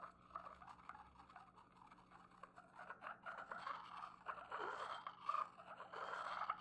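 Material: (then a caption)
Porcelain. A porcelain pestle is ground around the inside of an upright, hollow, empty white porcelain mortar. It makes a quiet, continuous scraping and grinding with a ringing midrange tone near 1.3 kHz, growing louder and more uneven over the second half.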